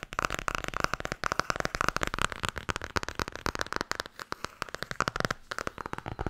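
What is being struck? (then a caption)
Hardcover book cover. The back cover of a blue Tarot hardcover book is tapped rapidly with long nails and fingertips. Dozens of sharp, dry clicks run together in a fast, uneven patter with no ring after each hit. The taps carry a mid-pitched hollow tone around 1.4 kHz.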